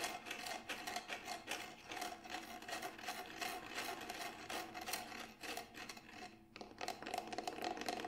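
Fingertips and nails scratch and rub along the side of a Remo Buffalo frame drum, a large hollow drum with a grey textured synthetic shell. A dense, rapid stream of dry scratches and light taps carries bright hiss and a faint steady tone near 715 Hz. The sound briefly dips quieter around six and a half seconds before picking up again.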